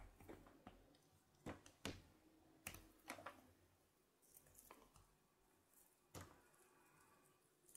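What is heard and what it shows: A hand-sized, solid, flower-shaped block of translucent white glycerine soap, held in one hand, is shaved and scraped with a red-patterned carving knife over a pile of soap shavings. Quiet, irregular scratching and carving strokes are heard, with sharp, bright scraping bursts between softer rasping and brief pauses.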